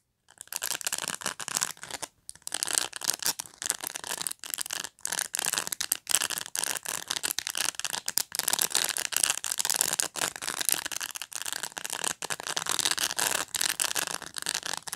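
Long nails scratch and tap across the bristles of a black plastic pet brush. The result is a dense, bright, crackly rasp in quick bursts with brief silent gaps and almost no low end.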